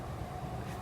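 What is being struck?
Nothing is struck.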